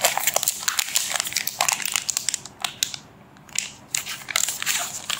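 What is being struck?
Thin clear plastic bag wrapped around a magazine.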